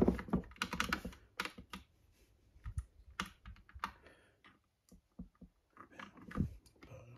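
Fingertips type on the keycaps of an Epomaker "Bloodshot" classic cream and green plastic mechanical keyboard resting on its red box. Quick, irregular bursts of dry, clacky keystrokes with a soft low thock are heard, separated by brief pauses. Each press dies away almost instantly.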